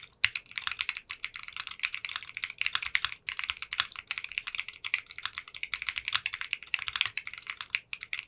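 Fingertips and short nails type rapid key presses on a 60% custom mechanical keyboard with translucent pink polycarbonate keycaps in a clear case. The result is a fast, continuous stream of short, bright clacks with little low end, centered around 2.7 kHz. The typing pauses briefly near 3 seconds and again just before the end.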